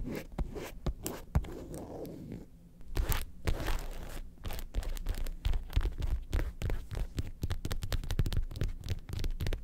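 Long pointed acrylic nails rapidly tap and scratch the smooth panels of a medium red leather (likely faux) lobster-shaped handbag with gold studs, hollow and empty or lightly filled. It is flipped from back to front partway through. The result is a quick, irregular stream of dull, low thuds mixed with soft scraping and scratching.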